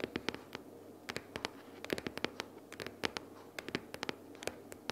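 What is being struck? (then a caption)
Small cardboard box. Long nails rapidly tap and scratch the top cover of a closed pink cardboard sticky-notes box lying flat. Around two dozen sharp, dry clicks with bright edges stand out over a faint, steady scratching hiss. Each tap dies away almost at once, with no ring.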